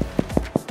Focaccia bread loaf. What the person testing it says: it sounds hollow when you flick it or you touch it like that